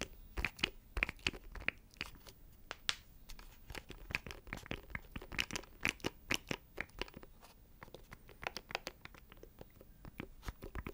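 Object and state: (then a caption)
Plastic audio interface scratched with fingernails. Fingernails scratch a small, hollow black plastic audio interface box close to the microphone. Rapid, bright, crackly scrapes and clicks come in uneven bursts with almost no ring, and the sound is quiet overall.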